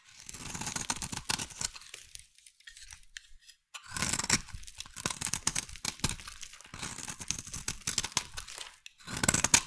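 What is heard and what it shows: A metal blade carves and scrapes a solid, hand-sized pink bar of soap, shaving off flakes. Bright, crisp scraping and crackling comes in bursts, with a quieter pause near the two-to-four second mark and another just before the end.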